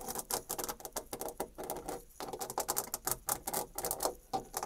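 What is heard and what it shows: Long dark red nails scratch a white painted molded panel door, raking across its embossed wood-grain rail and along the raised panel molding edge. The result is a run of quick, dry, bright scratching strokes with a papery rasp and little low end, coming in short bursts separated by brief pauses.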